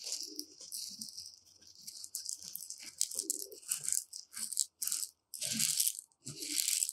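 Two long metal rods are dragged and stirred through loose, uncooked dry white rice grains in a shallow tray. The result is a bright, hissing rattle of grains in uneven bursts, swelling and fading, with brief quiet gaps between the louder sweeps.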